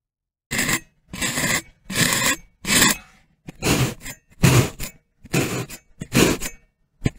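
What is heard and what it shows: A metal fork's tines are stabbed repeatedly, in rows, into the top of a solid, hand-sized molded rectangular brick of orange-brown kinetic sand resting on a white surface. Nine separate crunchy, scraping punctures are heard, each a short gritty burst with bright, hissy texture over a low thud, separated by brief silences.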